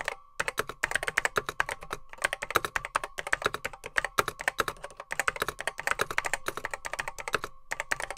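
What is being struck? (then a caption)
Plastic computer keyboard with mechanical switches. Fingertips type on a beige plastic Apple M0110B keyboard with grey plastic keycaps, its hollow case holding mechanical switches. A steady run of quick, sharp, bright clicks and clacks with short pauses between bursts. A faint steady tone hums underneath.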